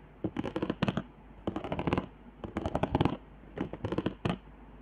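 Long nails scratch across the raised hot-glue zigzags and straight lines on the upper half of a flat cardboard trigger board. Four bursts of quick, dry, rasping scrapes are heard, each made of many short ticks and separated by brief pauses.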